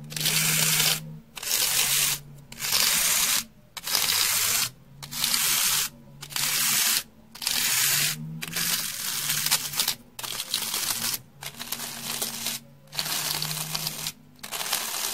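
A rectangular slab of solid, porous, beige dry floral foam is held in hand and scratched and brushed with a round hair brush that has stiff dark bristles and a wooden handle. Each stroke makes a bright, hissing, tearing scrape, repeated in steady bursts roughly a second long with short silent gaps between them. A faint low hum sits underneath.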